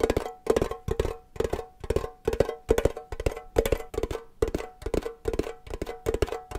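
A small hollow triangular printed metal tin shaped like a cake slice is tapped quickly with fingernails and fingers. The result is rapid bursts of short, dry, clicky knocks with a hollow ring around 440 Hz. The bursts repeat in quick clusters throughout.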